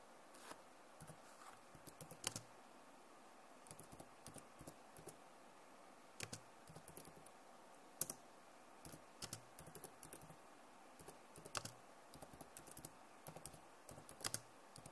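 Long nails and fingertips tap across the keys of a backlit plastic laptop keyboard, making about 29 quiet, sharp clicks. The clicks are bright and die away almost instantly, arriving in irregular bursts and single taps over a soft, steady hiss.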